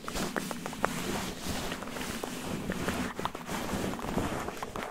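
Fingertips and short nails scratch and rub a soft red cotton terry towel draped over a microphone like a head. The result is a steady, close, fuzzy rustle with quick, brighter scratchy strokes over a low, muffled rumble.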